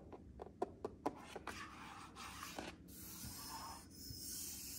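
Fingertips and nails of one hand tap and rub across the flat glass control panel of a matte black refrigerator's water and ice dispenser, which is fixed solidly in the door. A quick run of light, sharp taps opens the clip, then gives way to a steady, hissy scratching and rubbing across the glass face.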